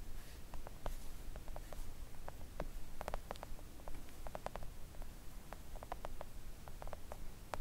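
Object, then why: Silicone mat tapped with fingernails. Long coffin-shaped press-on nails gently tap a thin, solid, flat pink silicone nail art mat lying on a table. Soft, quick taps and light clicks come in an irregular run over a steady low rumble, each fading almost at once.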